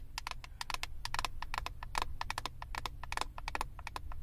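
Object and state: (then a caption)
Plastic eyeshadow palette. Long acrylic nails tap rapidly on the clear plastic lid of a flat eyeshadow palette, making a quick, uneven run of crisp clicks. Each tap is short and dry with a tone near 1 kHz and bright upper edges, over a steady low rumble.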